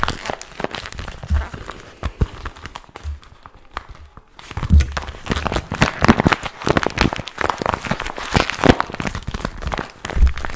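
A small, glossy pink plastic/vinyl zippered pouch with a strap, hollow and apparently empty, is held in both hands and crinkled, squeezed and scratched with fingertips and short nails. Dense, crackly crinkles and dry scratches come in quick bursts over soft, low thumps of handling. There is a brief quieter pause before the crinkling resumes more strongly.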